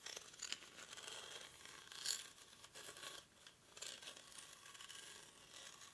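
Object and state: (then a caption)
Woven rattan basket. Short fingernails scratch across the weave of a hollow, cylindrical woven rattan or reed basket held in both hands. The result is a quiet, dry, bright rasping and crackling texture, almost entirely high-pitched with hardly any low end, that swells and fades in uneven strokes.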